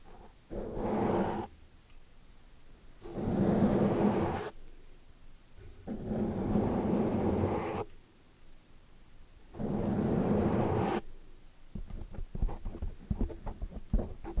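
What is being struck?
Foam microphone windscreen.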